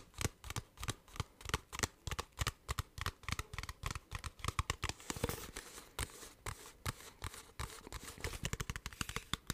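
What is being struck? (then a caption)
Plastic water bottle. A clear, hollow, partly filled plastic water bottle with a blue cap is tapped rapidly with fingertips and nails. The result is a long, uneven run of short, dry taps, each a low hollow thump with a bright click on top and almost no ring, plus a brief crinkly rustle in the middle.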